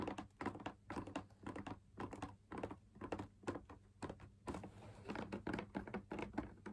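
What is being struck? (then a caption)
Fabric-laminated drum lamp shade. Fingers tap the outer wall of a hollow, perforated, fabric-laminated drum lamp shade. Quick bursts of soft, dull, papery taps come in uneven clusters, each dying away almost at once with little ring.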